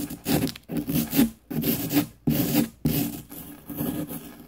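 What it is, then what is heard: Plaster dig block being scraped. A small, solid green plaster excavation block from a diamond dig kit rests on a paper plate and is scraped with a small, light-colored pick tool held in the fingertips. Repeated dry, gritty rasping strokes have a low-mid body and a bright hiss on top, separated by brief pauses.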